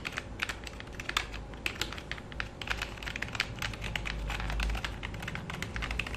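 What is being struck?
Plastic computer keyboard.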